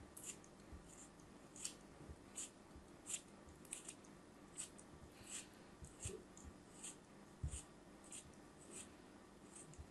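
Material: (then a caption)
Kinetic sand. A thin metal knife blade cuts and scrapes repeatedly through a small solid chunk of brown kinetic sand held between the fingers, crumbling it over a pile of loose sand. Quiet, short, bright scraping crunches repeat throughout over a faint low background hum.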